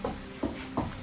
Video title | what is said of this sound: Mike Fights Back Against Dishonest Contractors - Holmes on Homes S5 Marathon | that sounds Hollow doesn't it